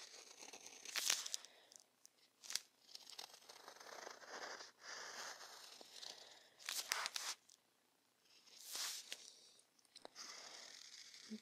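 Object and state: Pen scratching on watercolor paper.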